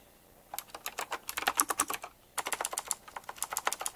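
A full-size retro typewriter-style mechanical keyboard with round black plastic keycaps set in chrome rings and a glossy black frame is typed on fast with both hands, bare fingertips and short nails. Two bursts of rapid, bright, crisp clicks are heard, with short clacks and a brief pause between the bursts.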